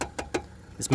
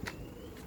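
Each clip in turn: First: Several quick knuckle knocks on a car's front body panel, short and dull, identifying it as metal. Second: A quick, dull knock on a car body panel with no ring, a fiber composite part rather than metal.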